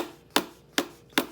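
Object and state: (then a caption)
Full lower part of a plastic ketchup bottle. A plastic ketchup bottle is tapped three times on its lower part, where it is full of ketchup. Each tap is a short, dull knock with a low tonal body and a quick decay. It sounds stronger and less empty than the empty top of the bottle.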